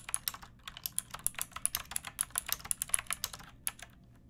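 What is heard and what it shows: Fingertips with long dark nails type continuously on a hollow-bodied pink plastic mechanical keyboard with round plastic keycaps and a backlight, resting on a wooden board. About 25 crisp, bright, clacky keystrokes land in an uneven rhythm, each dying away almost instantly with little low-end thump.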